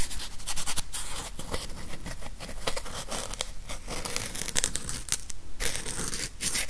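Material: Plastic, felt.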